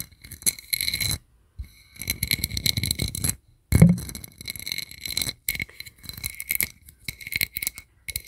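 A small, round, hollow gold-toned metal compact mirror with an embossed sunburst lid is held in both hands close to the mic and tapped and scratched with the fingertips and nails. Bursts of quick, dense tapping and scratchy rustling carry bright metallic highs over soft low thumps, broken by brief silent pauses.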